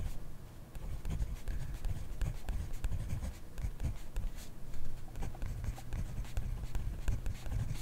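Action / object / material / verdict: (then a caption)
scrape / pen on paper notebook / paper / none. A pen held in the hand writes on a grid-ruled paper notebook lying flat on a desk. Its tip makes continuous soft scratching strokes, mostly low and muffled, with faint brighter ticks.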